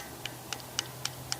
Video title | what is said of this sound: Why Did Belfast's Largest Shipbuilder Vanish? Workman Clark | if you listen carefully, I will tap it, and you'll hear that in effect it's actually made of steel